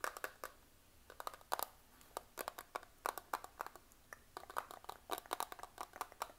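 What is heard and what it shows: Fingernails tap and scratch a small, flat, clear plastic eyeshadow compact, a hollow case with makeup pans inside, held in both hands close up. Quick irregular bursts of sharp, dry plastic clicks and scratchy ticks centered around 1 kHz with bright tops stop almost instantly, with quiet gaps between clusters and almost no low end.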